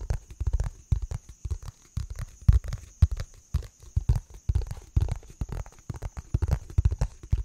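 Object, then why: Round thin plastic container lid. Fingertips and nails tap a round, hollow, thin-walled green plastic lid or bowl held in both hands. The taps come in quick, irregular clusters of dull, deep thumps with almost no ring. A faint, steady high whine runs underneath.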